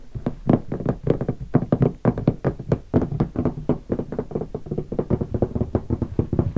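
Fingertips tap quickly and steadily on the sticker-covered lid of a closed, large black hardshell guitar case. The result is a long run of dull, hollow knocks with a low, boomy body and very short decay.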